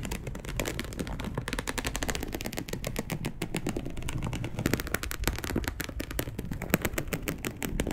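Long acrylic nails on both hands scratch a dark brown perforated polyester mesh fabric sheet laid flat, producing a rapid, continuous stream of dry clicking scrapes. The dense, closely spaced strokes blend into a steady rasping texture with a low-heavy body and short, crisp transients.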